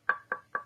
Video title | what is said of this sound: #2 Tuto 3D Printed Arctos Robotics - Structure en PET-CF (Tuto pas à pas en français) | quand on tape dessus ça fait le bruit du bois on l'impression que c'est du bois alors que pas du tout